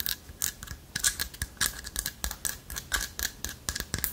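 Long fingernails scratch across the holes of a light wood carved owl figurine with a hollow lattice body. A rapid, uneven series of short, dry, bright scratching strokes follows, each with a faint ringing tone around 1.6 kHz and almost no ring after it.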